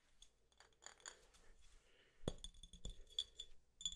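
An empty, clear glass soda bottle with a label is held in one hand and tapped with the fingernails of the other. The result is a series of light, quick clinks with a bright glassy ring that dies away almost at once, the strongest taps landing in the second half over a faint low rumble.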